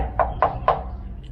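Three knocks on a plastered wall built from styrofoam blocks, reinforced through the cavities and then plastered, each giving a short, hollow, mid-pitched thud that dies away quickly. The wall sounds hollow, as is normal for this lightweight construction.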